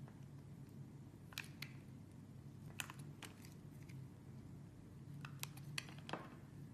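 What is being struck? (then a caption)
Translucent bar soap block. A metal blade scrapes across a small, square, purple translucent solid soap block held in the fingers, shaving thin curled layers off its surface. Quiet, sharp, crisp scraping crunches stand out at irregular intervals over a steady low background hum, each dying away almost at once.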